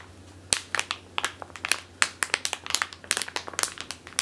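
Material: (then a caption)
Plastic. Long teal nails scratch and crinkle a medium clear plastic bag with a purple label, full of flour or grain, resting on a wooden table. A quick series of sharp, bright, dry crinkles and scratches snaps out with almost no ring, separated by a faint hiss.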